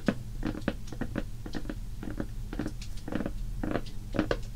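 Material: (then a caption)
Cardboard. A shrink-wrapped Crayola cardboard crayon box, hollow and filled with crayons and lying on a wooden table, is tapped and scratched fast with long painted fingernails. Quick, dry clicks with short crinkly scratches run in clusters over a low steady hum, each tap dying away almost at once.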